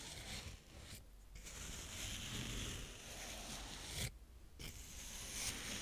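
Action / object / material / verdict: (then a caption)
scrape / kinetic sand scraped with a plastic spade / sand / none. A blue plastic spade scrapes and rubs across the surface of brown kinetic sand up close, producing a continuous gritty, crackling scrape with bright hiss and soft low rustle. The scraping briefly thins out twice into quieter gaps before resuming.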